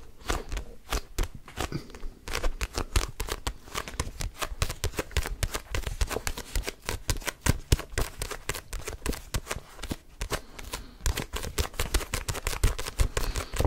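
Fingertips riffle and flick the paper pages of a red paperback book and grip its cover. The result is a dense, continuous run of quick, dry ticks and papery flutters with a soft low thump under them, steady for the whole clip.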